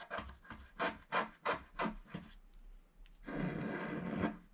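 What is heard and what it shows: A wooden stylus scratches back and forth along the bottom border of a flat, black-coated scratch-art sheet, about A4, lying solid on a table, revealing the colour underneath. Seven short, dry, raspy strokes sound in a steady rhythm, then a brief quiet pause leads into one longer, continuous scraping stroke with a bright, papery texture.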